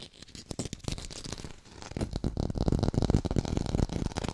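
An artificial red tomato held in one hand is tapped and scratched quickly with long pink nails. The result is a dense, uneven run of short, dry, low-pitched taps mixed with scratchy rustling. The sound is softer at first and grows louder and fuller after the midpoint.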